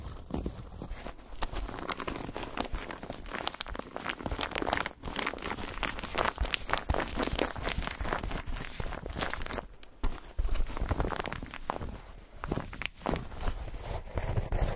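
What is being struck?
Foam bath pillow.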